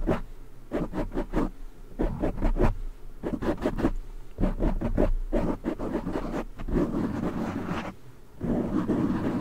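Fingertips scratch a black foam windscreen on a silver microphone, then both hands grip and rub it. Quick bursts of rough scratching crackle in rapid clusters with a heavy low rumble. They give way to denser, continuous rubbing and crunching toward the end.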